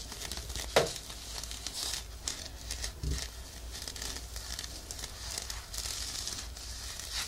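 An off-white, looped woven-fabric exfoliating glove, worn on a forearm held above a binaural microphone, is scratched and rubbed with the fingertips of the other hand. It produces close, dry, bright crinkling and scratchy rustling, with one sharper, louder scrape near the start and a steady textured scratching after that.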